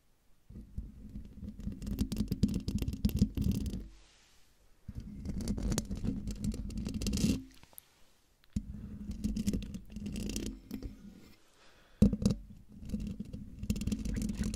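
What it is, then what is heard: Metal mesh microphone grille. Long dark fingernails of one hand scratch the hollow metal mesh grille of a silver Blue Yeti-style microphone in four separate bursts with brief silent gaps between them. Up close, the scratching sounds like a dense, low, rumbling scrape with a steady hum near 200 Hz and faint crackly clicks on top. The last burst opens with a sharper knock.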